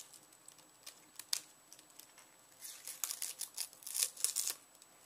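Fingers peel the crisp, papery brown skin off a solid whole yellow onion held in the hand, tearing it away in strips. Quiet, bright, dry crackles and crinkling snaps with no low end come as sparse separate ticks at first, then thicken into denser, louder rustling bursts in the second half.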